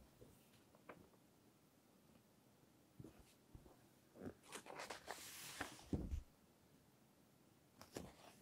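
A thick paper magazine is held open in both hands while its pages are slowly turned, and long nails and fingertips rub and grip the paper edges. Quiet, soft scrapes and taps rise into a louder, airy page swish that ends in a dull low thump, then fade back to near silence. Six distinct touches stand out over the faint background.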